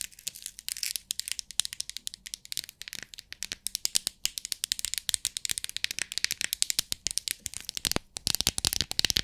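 Long nails tap the lid of a small clear plastic bead organizer box full of loose beads, and the box is tilted so the beads rattle inside its compartments. The result is a fast, steady stream of sharp, bright clicks and crisp rattling with almost no low end and no ring after each hit.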